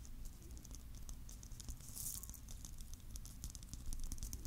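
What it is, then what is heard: Clear plastic bauble filled with glitter. A palm-sized, hollow, clear plastic Christmas bauble filled with glitter, with a metal cap, is held close to the mic and tapped with fingertips and nails. Quick, light, bright ticks and clicks patter over a steady low hum. The sound stays soft and even throughout, with short taps that stop almost instantly.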